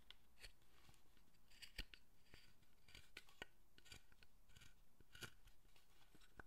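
A small steel carving knife shaves and scrapes details around the face and collar of a solid pale wooden statue figure held in the hand. Quiet, repeated crisp cuts and scrapes are heard, each with a short bright snap over a low hum.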